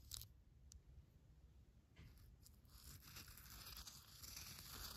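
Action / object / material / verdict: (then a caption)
scrape / damp coffee grounds in a paper filter / coffee grounds / none. A red pen digs and scratches through damp, used coffee grounds in a paper filter. It makes soft, wet crunching and scraping with a high, papery rasp over a low rumble. A few sharp crackles come early, then a denser, steadier scratching builds toward the end.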